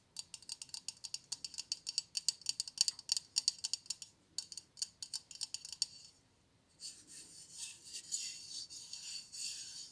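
A White Dove aluminium aerosol spray deodorant can, metal and hollow with a plastic cap, is tapped and scratched along its printed surface by long blue nails. Quick, bright clicky taps come in a rapid dense run for about six seconds. After a short pause, a continuous high scratching rasp follows.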